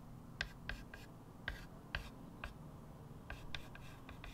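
A small white chalk stick held in fingertips scratches short strokes across the matte surface of a square blackboard in a light wood frame lying flat on a table. Brief, dry scraping clicks with a bright squeaky edge come in irregular bursts over a quiet low background hum.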